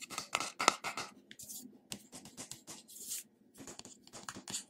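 Fingernails scratch across the top of the silver metal-look lid on a small glass cream jar with beige contents. The sound is a series of quick, bright, irregular scratching strokes with short pauses between them, plus a faint low hum underneath.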